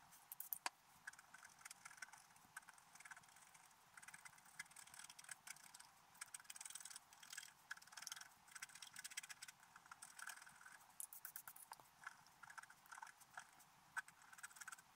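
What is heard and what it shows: A wooden stylus scratches fine details into a flat, black-coated scratch art paper page, as in a drawing of an elf riding a unicorn. Quiet, dry, rapid scratching strokes and short scrapes come in irregular bursts. The sound is thin, papery and bright, with almost no low end.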